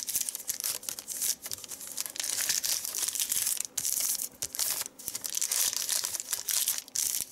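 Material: Paper.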